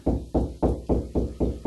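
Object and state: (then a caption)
Hollow drywall cavity. Knuckles tap seven times along a drywall wall, each hit a low, hollow thud with a short boomy ring. The low sound means the wall cavity behind it is empty, with no stud there.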